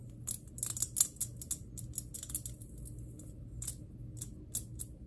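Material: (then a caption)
Glass. Long nails tap on a glass electric globe in a quick, irregular series of light, bright clicks. Each tap is sharp and high-pitched and dies away almost instantly, over a steady low hum.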